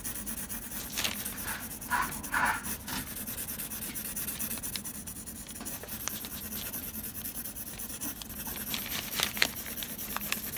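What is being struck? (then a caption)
Pencil lead on textured drawing paper. A blue mechanical pencil scratches curved shading strokes across a flat sheet of textured drawing paper. Soft, dry scratching and rubbing is heard in irregular bursts, with brighter swishes clustered near the start and end over a steady low hum.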